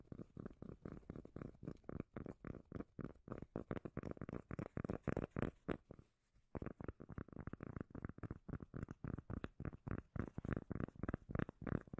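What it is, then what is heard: Cork lid tapping. A cork lid is tapped quickly and unevenly with the fingers and scratched, giving a steady stream of short, dull, deep bass thumps with almost no ring. There is a brief pause near the middle before the tapping resumes. No voice is heard.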